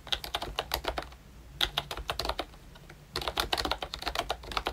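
Fingertips of both hands type on a ROYCHE Disney Mickey Mouse plastic retro membrane keyboard with round brown keycaps, a pink frame and a Mickey badge. Quick, bright, dry key taps come in three bursts separated by two short pauses, each tap dying away almost at once.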